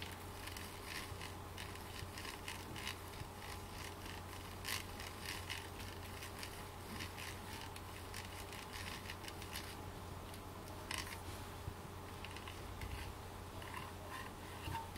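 Long black fake nails tap and scratch the sides and grille of a small, hollow, rounded white plastic cube, probably a speaker, held in the hands. Soft, quiet clicks and bright scratchy rasps repeat over a steady low hum.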